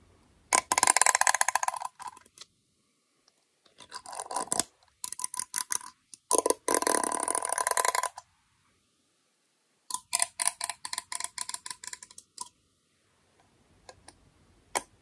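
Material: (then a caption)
Aluminum. Comb teeth are run over the rim of a small, round, closed aluminum beard balm tin, producing bursts of rapid, dry metallic ticking with a faint ring around 1 kHz and bright high-end sparkle. Several quick raking passes are separated by short silences, and the clip ends with a few sparse, softer ticks.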